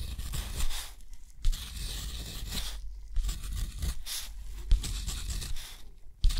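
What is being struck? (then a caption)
Steel dip-pen nib on thick rough paper. A steel dip-pen nib draws wavy lines and small marks on a sheet of thick, rough, white textured watercolor paper. It makes bright, dry scratching strokes that come in bursts separated by brief pauses, with occasional soft low bumps.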